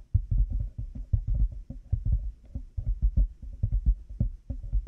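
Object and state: Plastic headphone headband tapped.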